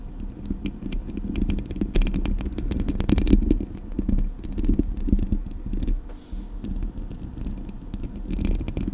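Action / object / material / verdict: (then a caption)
tap / metal mesh microphone grille / metal mesh / none. Long acrylic nails scratch and tap the metal mesh grille of a Blue Yeti microphone. The result is a dense, close-up crackle of scraping and quick sharp clicks over a heavy low rumble, with brief bright ticks. The sound swells and eases throughout.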